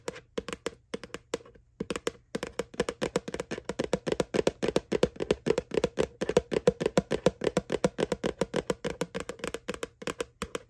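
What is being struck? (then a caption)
Plastic candy bucket. Fingertips and nails tap rapidly on the flat round bottom of a small, hollow white plastic McDonald's "Boo" Halloween candy bucket that is held up. The quick, uneven run of short, dry taps has a hollow tone around 490 Hz, with a brief pause near the two-second mark.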